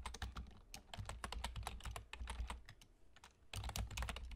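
Fingertips with short nails on both hands rapidly type on a full-size black plastic computer keyboard with German key labels and hollow keys. A dense stream of sharp, bright clicks and taps with very short decay rides over a steady low rumble, with a brief lull in the typing near the middle before a fast burst resumes.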